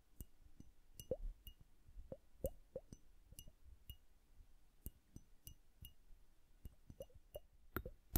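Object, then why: Glass hourglass filled with liquid. Long nails tap on the bulb of a hand-sized glass hourglass filled with blue liquid and bubbles. Quick, soft clinks and tiny high pings sit over faint plopping bubble sounds and a low hum. The taps come in irregular bursts and end with a louder cluster of clicks.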